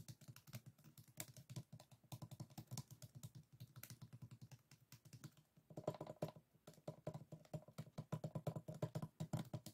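Fingertips and nails rapidly tap and scratch the bamboo rib stack of a closed bamboo folding fan held on a table. The result is a dense run of dry, low, clicky taps with almost no ring, like fast typing. After about six seconds the taps grow louder and take on a hollow woody tone around 600 Hz.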